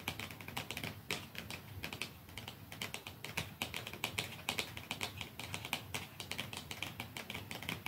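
Fingernails tap softly on a plastic mascara tube, making a steady run of quick, light clicks with a bright, crisp tone around 2.4 kHz. Each click dies away almost at once, with faint low rumble underneath.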